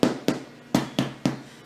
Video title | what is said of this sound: Homemade French Bread | you should be able to tap them and hear kind of a hollow sound. If they don't sound hollow, they're not done.